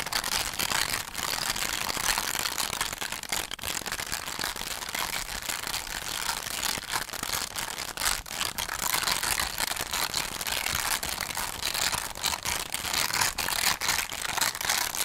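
Fingernails scratch across the textured foil of a hollow holographic foil cardboard heart box base. The sound is a steady, dense, bright scratching hiss with almost no low end, broken by brief dips and quick sharper strokes throughout.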